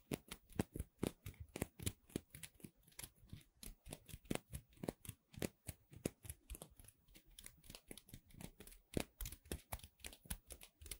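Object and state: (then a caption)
Cornstarch foam playcorn pieces. Two small dark gray playcorn pieces of soft solid cornstarch foam are held one in each hand close to the microphone and squeezed, rubbed and pressed by fingertips with long red nails. A rapid, continuous series of crisp, squeaky crinkles and rustles is heard, each burst short and dry with both low body and high bright edges.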